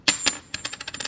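A circulated 1979 clad copper-nickel Kennedy half dollar is dropped for a ping test, giving two sharp, bright metallic strikes followed by a quicker run of lighter bouncing clinks as it settles. It rings only briefly, with a high, thin tone, and is judged clad rather than silver because its pitch is lower than a silver coin's.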